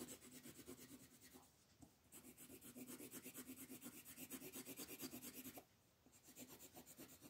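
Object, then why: Wooden colored pencil on a thin paper page over a wooden table. A wooden colored pencil, held in a hand with long purple nails, rubs back and forth across a thin printed paper coloring page lying flat on a dark wooden table, shading the ground area. Quick, scratchy, papery strokes repeat about three times per second with a bright rasp. The shading pauses briefly twice before resuming.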